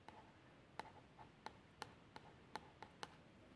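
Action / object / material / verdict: scrape / plastic shower gel bottle / plastic / none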